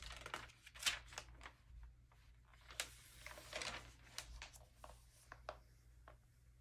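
A hand flips the thin pages of an open early-2000s glossy paper magazine, then rubs the newly opened spread flat with its fingertips. Bright, crisp paper flicks and crackles rise over a soft, papery rubbing and swishing, with a faint low hum underneath.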